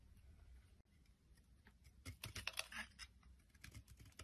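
A hand-sized solid oval bar of green soap with a white layer, held in the palm, is shaved and scraped into flakes with a metal utility blade. After a quiet, faint first half, a run of crisp, bright scraping crackles and short ticking clicks sets in, each dying away almost instantly.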